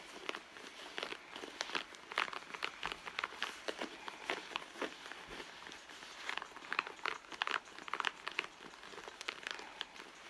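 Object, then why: Soft leather handbag. A red soft leather handbag resting on a mat, hollow inside, is scratched and squeezed along its front pocket seam by long blue nails. Dense bursts of crinkling, scratchy friction sound bright and dry, with many quick overlapping scrapes and no low end.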